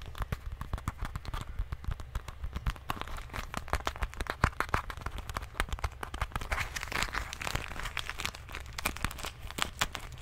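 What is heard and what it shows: A small rubbery plastic medicine bottle with a white cap is held in one hand and tapped and squeezed with fingertips and nails. The result is a dense run of quick, crisp clicks and crinkly taps with bright edges, over a steady low hum. Each tap dies away almost instantly.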